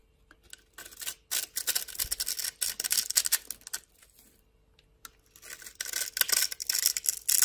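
A solid rectangular yellow bar of soap, held in the hand, is carved into small cubes and scraped with a metal blade. Bright, crisp scratching and shaving bursts come in bunches between short quiet pauses, with almost no low end.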